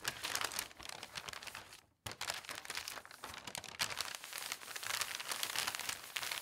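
Large, thin newspaper pages are lifted, turned and smoothed flat while wrapping glasses and cups, with fingertips and long nails rubbing across the paper. Dense, bright crinkling and rustling fills the clip, broken by a brief near-silent pause around two seconds before the rustling resumes.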